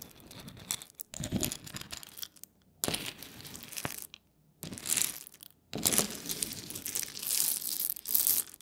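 A wooden spoon scoops and stirs through a pile of whole roasted coffee beans, small hard dry seeds, resting on a wooden board. The beans rattle and click against each other and the board in dense, bright, crunchy bursts, separated by brief pauses. The clicks die away quickly and carry little low end.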